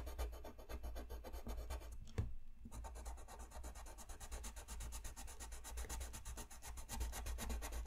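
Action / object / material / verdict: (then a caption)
scrape / colored pencil on paper sheet / paper / none. A brown colored pencil tip rubs across a thin white paper coloring sheet lying flat on a desk in fast, repeated shading strokes. It makes a steady, rhythmic scratchy rasp over a low rumble. The strokes pause briefly just after two seconds with a soft tap, then resume evenly to the end.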